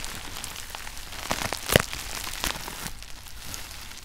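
Fingers press crumpled clear plastic bubble wrap resting on a red shoebox, popping the bubbles. A steady bright crinkle runs throughout, broken by sharp, dry snaps, the loudest near the middle, each cutting off instantly.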